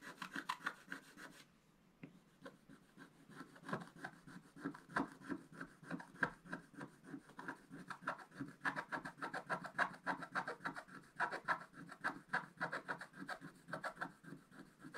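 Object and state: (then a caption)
Scratch-art paper card. A wooden stylus scratches repeatedly across a flat, black-coated scratch-art paper card, making quiet, dry, rasping strokes at a brisk, uneven rhythm of about three per second. After a brief pause near the start, the scratching resumes and carries on steadily, with a papery mid-range rasp centred around 1.5 kHz and a soft lower scrape.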